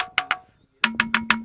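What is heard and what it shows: A natural musical rock is struck at its particular ringing spots, which give a musical tone, unlike other places on the rock that only give a dull thud. Six sharp, woodblock-like knocks are heard: two higher-pitched strikes, a brief pause, then four quick strikes carrying a steady tone near 220 Hz, each with a bright attack and a short decay.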